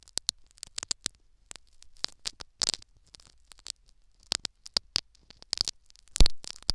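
Syringe needles scratch and tear at a foam sponge plugged into the canal of a silicone ear microphone. Short, crisp scratching and crackling bursts come in irregular clusters, with bright hissy tops and a thumpy low rumble, ending in a louder, longer scrape.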